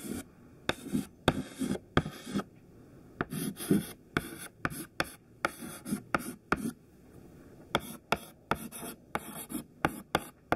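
A thin white stick of classroom chalk, held in the fingertips, writes text on a black chalkboard in continuous scratching strokes. Short, dry scrapes alternate with about 17 sharp taps as the chalk strikes the board, each clicking off almost at once. The strokes are separated by brief quiet pauses.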